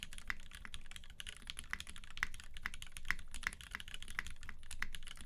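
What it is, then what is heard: Mechanical keyboard. Both hands type continuously with their fingertips on a UTD 360C tenkeyless mechanical keyboard with a gummy-worm mount, Vintage Black switches lubed with 205g0 and filmed, white PBT keycaps and a silver aluminum case. The result is a steady, fast stream of short, crisp clacks, each with a sharp tick near 2 kHz over a soft low thump. Every keystroke dies away almost instantly.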